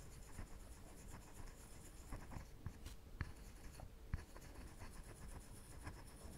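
A wire-tip woodburning pen slowly drags and scratches along the grain of a flat, solid, light plywood sheet, burning a dark outline. The faint, steady scratching sits over a low rumble, broken by a few brief, sharp ticks.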